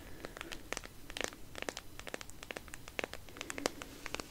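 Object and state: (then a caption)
Cardboard palette box, scratched and tapped. Long nails scratch and tap a flat cardboard eyeshadow palette with a white marble print, held up close. It makes a quiet run of quick, dry clicks and crisp scratchy crinkles that stop sharply, with no ring.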